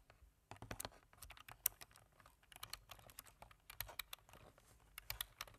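Fingertips of both hands tap the keys of a black plastic computer keyboard in steady typing. The result is a quick, uneven run of sharp, bright plastic clicks that die away almost instantly, with only a faint low thump under them.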